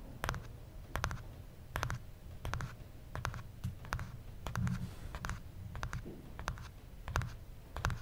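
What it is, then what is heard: Smartphone with glass screen and aluminum back, tapped. Fingertips tap the glass screen of a small, solid original iPhone, a glass and aluminum smartphone, then its aluminum back and black plastic cap. Each tap is a short, dull low thud with a brief bright click on top, dying away almost at once. The taps come at an uneven pace with soft scratchy rubbing in between.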